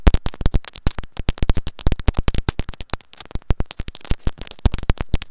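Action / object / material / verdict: tap / plastic earphone inline microphone / plastic / none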